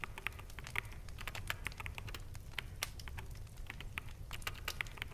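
Fingertips of both hands type rapidly on a full-size black mechanical keyboard with plastic keycaps. Quick, bright, dry clicks and clacks run close together for the whole clip. A steady low rumble sits underneath.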